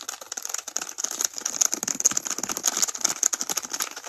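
A single small, finger-sized tampon in a crinkly white-and-yellow patterned plastic wrapper is held in both hands and squeezed and crinkled with the fingertips close to the camera. A dense, steady stream of sharp, bright plastic crackles and rustles runs throughout, with almost no low end and each crackle dying away almost instantly.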